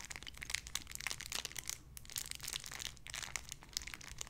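A small clear plastic bag holding a soft white-and-pink squishy toy is crinkled and squeezed with the fingertips. Quiet, bright crinkling and crackling fills the clip in dense bursts, with a brief lull near the middle. Each crackle stops almost instantly.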